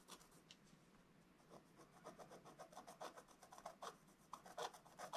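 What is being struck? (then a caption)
Scratch-art coated paper page scratched with a wooden stylus. A wooden stylus scratches a black-coated scratch-art book page with short, rapid strokes. The clip is a quick, irregular run of dry, papery rasping scratches with a mid-range edge and a bright hiss. The strokes start soft and grow louder and sharper toward the end.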